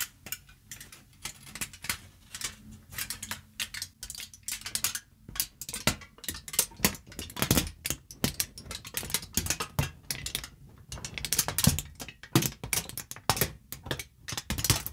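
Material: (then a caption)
Aluminium foil. A crumpled sheet of aluminium foil is crinkled by hand, squeezed with fingertips and long nails, at times held close to the mic. Dense bursts of sharp, bright crackles and snaps come in uneven clusters, with a faint low hum underneath. The crackling grows louder and busier toward the end.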